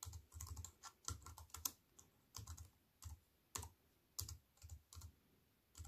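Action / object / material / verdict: tap / plastic computer keyboard with metal frame / plastic / none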